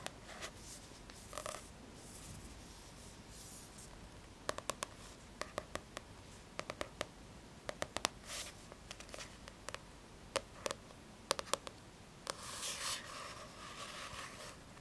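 Long red-painted nails scratch and tap the glossy red card cover of a flat, solid paperback "Mandalas Sacrés" coloring book held upright. Soft, hissy scratching strokes alternate with sharp, dry clicking taps that stop instantly, with a longer, brighter scratching passage near the end.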